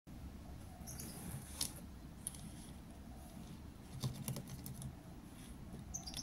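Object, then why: Plastic felt-tip markers on a desk mat. A row of thin, hollow plastic felt-tip markers lying on a desk mat is tapped and drummed with fingertips. Quick, dry plastic clicks and light patter sit over a steady low rumble, with a few sharper, brighter taps standing out.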